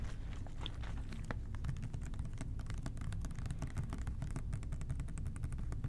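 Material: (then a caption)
Plastic. An OxiClean plastic trigger spray bottle is tapped with the fingertips of both hands in quick, steady patter. The soft, hollow plastic clicks are short and dry, sitting over a constant low rumble that fills most of the sound.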